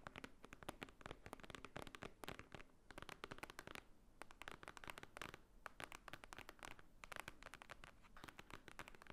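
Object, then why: Thick stack of paper, book-like block. Fingernails tap and scratch across the top of a thick, solid, book-like block of white paper lying on a table. The result is a quiet, steady stream of rapid, dry clicks mixed with short, scratchy rasps, each one stopping instantly with no ring. Brief pauses break up the run.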